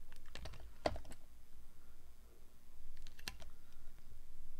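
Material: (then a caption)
Glycerin soap. A metal blade slices thin sheets off a solid, translucent orange glycerin soap bar held in the hand. Short, crisp cutting clicks and scrapes come in a quick cluster early on, then a sharper snap later. A steady low rumble sits underneath throughout.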